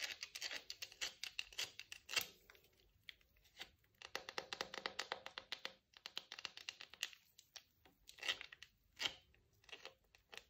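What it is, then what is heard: Bar of soap tapped and scratched with nails. Long acrylic nails tap and scratch a rectangular, palm-sized bar of pale olive-green soap held in wet hands over a bubble bath. Quick runs of sharp, bright clicks and dry scratching come in bursts separated by short quiet gaps. Each tap dies away almost instantly, with no low end.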